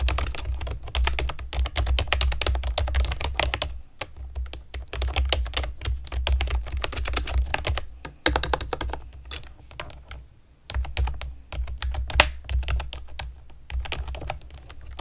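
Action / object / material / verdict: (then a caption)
tap / plastic keyboard with round keycaps / plastic / none. Long nails and fingertips type on a pastel plastic keyboard with round keycaps, making fast, bright clicks and clacks over a steady low hum. The typing comes in bursts, with short pauses near the 4, 8 and 10 second marks before it picks up again.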